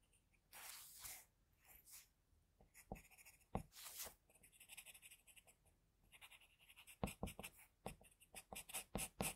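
A pencil held in a metal extender draws strokes across the face of a flat white drawing sheet. The result is quiet, dry scratching in short bursts of varying length, with brief pauses between them. Some of the scrapes sound bright and hissy, and a few sharper taps stand out near the end.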